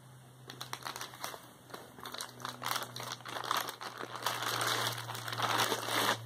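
Fingertips with painted nails pick at the taped seam of a white plastic poly mailer shipping bag with a label, filled with soft contents, pressing and crinkling the plastic. Irregular bright crinkles and crackles grow louder and denser toward the end over a steady low hum.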